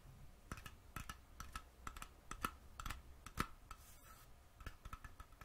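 Fingernails tap and click on the metal screw lid of a small glass mason jar held in the hand. About twenty quick, short clicks come at an irregular pace, each with a faint metallic ring near 1.3 kHz that dies away almost at once.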